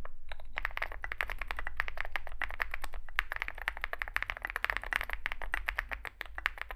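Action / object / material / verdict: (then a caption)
tap / mechanical keyboard with metal case and plastic keycaps / plastic, metal / none. Two hands type with their fingertips on a Zoom65 65% mechanical keyboard resting on a desk mat. It has a dark, likely aluminum case, white and grey SA-profile plastic keycaps, and lubed switches. A rapid, steady stream of short, crisp key taps is heard over a low background hum.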